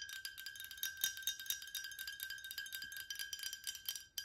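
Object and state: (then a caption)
Glass water bottle. A tall cylindrical glass water bottle with a metal or plastic cap, partly filled with yellowish liquid, is tapped rapidly with long nails. The taps make quick, bright, high-pitched clinks, each dying away almost at once, over a faint steady ringing tone.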